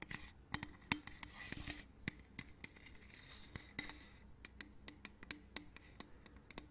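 A hollow, printed aluminium drink can is held sideways while long nails scratch and tap its surface. Bright, dry clicks and short scratching strokes follow one another at an irregular pace, each fading almost at once, with a faint ringing tone underneath.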